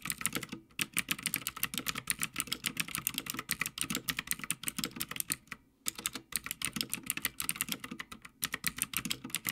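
Fingertips of both hands type continuously on a full-size backlit Havit mechanical gaming keyboard with plastic keycaps mounted on a metal top plate. Fast, dense, bright clacking keystrokes with very short decay carry on throughout, broken by brief pauses near 0.7 and 5.8 seconds.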